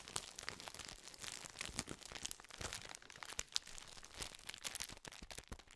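A full biscuit tube in a gold foil-lined, metallized plastic wrapper is scratched and tapped with fingertips. The result is a steady stream of quiet, bright crinkles and sharp little clicks that stop dead with no ring, with only a little low-end body under the papery rustle.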